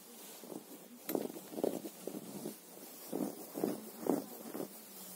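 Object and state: Fleece cushion cover being scratched.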